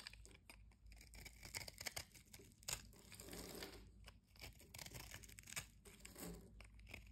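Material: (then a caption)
Soap. A blade cuts into the scored surface of a solid yellow-and-white striped bar soap held in the hand, breaking it into crumbling cubes. Dense, bright crunching and crinkling scrapes come in quick bursts throughout, with a faint low rumble underneath.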